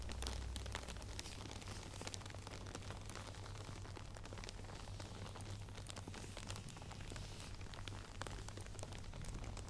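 A padded headband covered in small plastic faux pearl beads is held in the hands while long nails scratch and tap rapidly along the beaded surface. The result is a dense, continuous rain-like patter of tiny clicks over a steady low hum.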